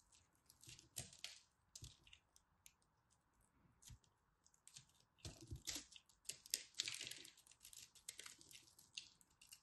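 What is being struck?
Pressed soap ball.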